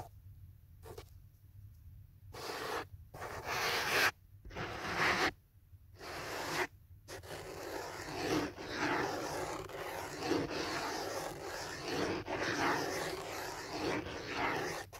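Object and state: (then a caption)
Foam phone holder. Fingernails scratch and tap the sides of a thick black foam holder wrapped around a phone held in hands. Dry, broadband scraping comes in short bursts separated by near-silent gaps in the first seven seconds, then settles into continuous, uneven scratching with occasional sharper taps.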